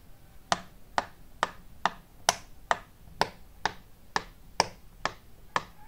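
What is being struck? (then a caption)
Silicone pop-it fidget toy. Fingertips press and pop the hollow domed bubbles of a flat, hand-sized, rainbow-shaped silicone pop-it fidget toy. Thirteen short, dry pops come at a fairly steady pace, each a crisp click centred in the midrange with a bright edge and almost no ring.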